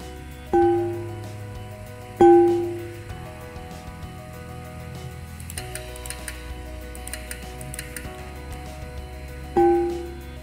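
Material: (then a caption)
Aluminium. An aluminium plate is struck three times with an impulse hammer as test hits to adjust the voltage range. Each strike gives a ringing metallic tone, pitched around 344 Hz with a higher overtone, that fades over about half a second. Music plays quietly in the background throughout.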